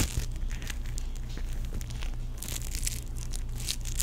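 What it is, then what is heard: Foam-bead play foam being squeezed. A small teal ball of tiny sticky foam-bead play foam, solid, is squeezed and stretched between the fingertips of both hands. It makes a steady stream of soft, bright crackling and crinkling pops, growing denser in the second half. A low, steady hum sits underneath throughout.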